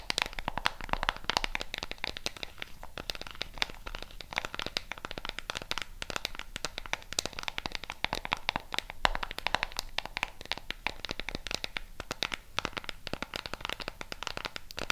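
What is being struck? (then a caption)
Plastic remote control with rubber buttons. Long pink nails tap and scratch the colored rubber buttons of a flat, hollow black plastic LED remote control. Dense, rapid, bright clicks and crinkly scratches run continuously throughout, with short dry ticks that stop almost instantly.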